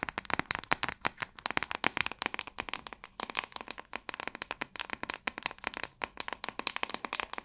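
The back of a hand-sized, hollow-backed white plastic paddle hairbrush, held upright, is tapped and scratched with long acrylic nails. It makes a rapid, steady stream of dozens of sharp, dry, bright clicks with a hollow midrange knock and almost no low end. Each tap cuts off instantly, with scratchy rasps between them.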